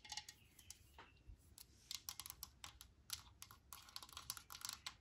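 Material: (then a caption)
Plastic. A Lysol metal aerosol can with a plastic cap, set down on a cloth-covered table, is tapped with long nails, mostly on the cap. The result is a rapid, irregular series of quiet, dry, bright clicks, each dying away almost instantly, with very little low-end body.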